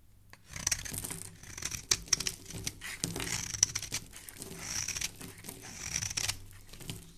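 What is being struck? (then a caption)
Bar of soap. A solid white bar of soap, held in fingers with dark painted nails, has its surface scraped with a metal blade, shaving off powdery flakes. Repeated bright, crisp scraping and crackling strokes rasp across the soap, with a few sharper clicks and little low-end body.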